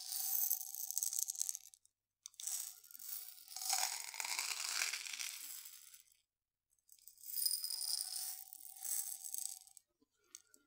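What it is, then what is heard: Glass jar of dried beans. A medium glass jar with a gold metal lid, full of dried mung beans, is tilted and shaken by hand so the beans rattle inside. Three bursts of bright, hissy rattling are heard, separated by short silences. The sound has almost no low end.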